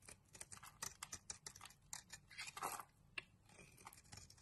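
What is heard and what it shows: A solid light blue Teo soap bar, held in the hand, is shaved with a metal utility knife blade, peeling off powdery curls. Quick, dry, crisp scraping strokes follow one another, bright and hissy with little low end, one longer, louder drag in the middle and a few sharp clicks. The shavings come away softly, leaving a quiet rustle between strokes.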